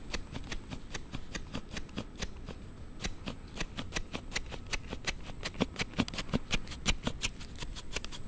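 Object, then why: Hard plastic sliding phone case on a smartphone. A hand-held Note7 smartphone in a hard plastic sliding case is slid open and closed repeatedly by fingers close to the mic. This makes an unusual rapid series of short, sharp, bright plastic clicks and snaps at an uneven pace of about three per second. A soft low rumble runs underneath throughout.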